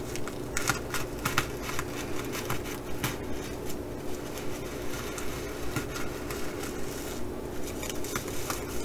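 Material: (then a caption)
Sequins. Long acrylic nails on both hands scratch across the surface of a blue, reversible flip-sequin fabric bag. Bright, crackly scratching strokes come in quick, fairly regular bursts over a steady low hum.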